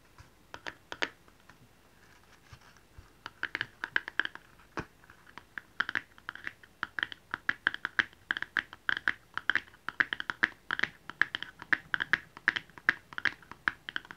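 A small, hollow red cardboard jewelry box, its lid resting on a patterned base, is held in the hands and tapped with fingernails. Scattered light taps at first give way to a quick, steady run of dry, clicky taps with a hollow mid-range tone and a bright edge. Each tap dies away almost instantly.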